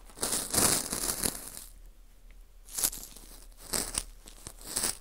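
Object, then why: Dried wheat gluten ring rubbed with a cotton swab. A cotton swab rubs inside the hole of a small, hollow ring of dry, porous baked wheat gluten (fu) held in a gloved hand. The result is bursts of bright, dry crinkling and scratchy crackle, with a long rasp at the start and shorter scrapes after a quiet gap.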